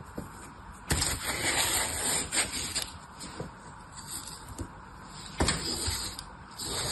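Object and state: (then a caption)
Floral foam block. A solid green floral foam block is scraped and sliced with an orange utility knife while the other hand steadies it, and long-nailed fingertips touch the foam. A dry, bright, crunchy scraping hiss fills the clip, broken by sharper cutting crackles that stand out, most strongly near the start and again about two-thirds through.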